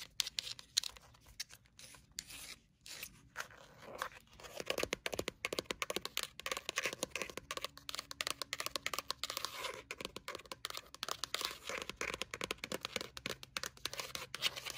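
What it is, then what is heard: Paper notepad. Long nails tap quickly on the cover and page edges of a thick, solid-block paper memo pad with a cat-print cover and a pink edge. The result is a dense run of crisp, bright, papery clicks and scratchy ticks with almost no low end, starting sparse and then settling into a steady, rapid patter.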